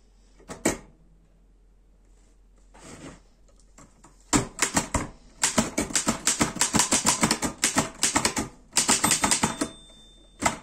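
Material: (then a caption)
Metal. Fingertips type on the keys of a black metal Erika 5 portable typewriter, producing sharp, bright metallic clacks in uneven bursts. A few scattered strikes and softer mechanical sounds come first, then dense runs of rapid keystrokes. A final isolated clack ends the clip.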